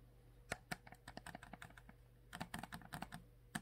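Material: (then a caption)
Plastic. Long manicured nails tap and scratch the blue plastic cap and upper body of a full, roughly 1 L Core water bottle made of clear PET plastic. A quick, irregular series of short, sharp clicks rises over a low steady hum, with two bursts of taps separated by a brief quieter stretch.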